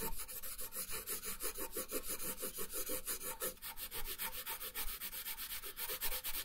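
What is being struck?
Wooden colored pencil on a paper sheet over a wooden table.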